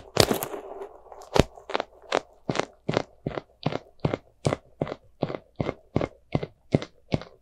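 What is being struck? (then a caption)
Soft rubber spiky squishy toy. A small white soft rubber spiky ghost squishy toy is squeezed in the fist and scratched with long nails. A rough, crunchy squeeze opens the clip, then a steady run of short, crisp, crackling scratches repeats about every 0.4 seconds. Each scratch is dry and bright with almost no ring.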